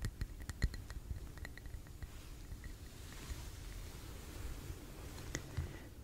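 A lit red wax candle filling a small clear glass tumbler is held in both hands and tapped gently on its glass wall with fingertips and nails. The result is quiet, soft taps with faint bright clicky ticks that die away almost instantly over a low, rumbly background.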